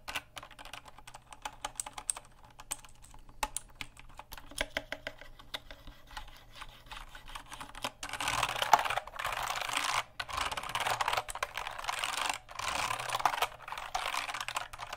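Fingertips quickly tap and press the keycaps of a full-size black plastic mechanical keyboard with RGB backlit keys and a hollow case, held close in front of the microphone. The first half is a dense, irregular patter of short, sharp clicks; from about eight seconds on, louder, sustained noisy bursts spread across the bright range, with brief pauses between them.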